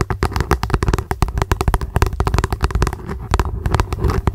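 Long acrylic nails tap and scratch rapidly on an upside-down translucent hollow plastic lunch box. The result is a fast, irregular stream of short, hollow clicks and thuds with a deep, low body. Each tap dies away almost instantly.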